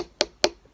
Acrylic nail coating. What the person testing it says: the way you could tell if the acrylic is done is if you tap it and it sounds like that